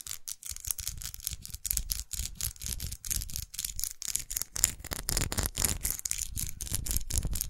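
Long nails tap and scratch the textured body of a small red faceted plastic lipstick tube, held sideways with its end cap visible. A rapid, dense run of crisp clicks and scratchy rubs sounds bright on top with a soft low thump beneath each tap, and every tap dies away at once.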